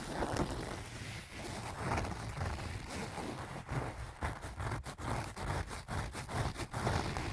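Fingernails of both hands scratch across the front face of a small, soft-sided pink-and-white leaf-print canvas zip pouch that appears to be filled. The result is a steady, dry scratching rustle with a low, muffled body, broken in the second half by quicker, sharper strokes.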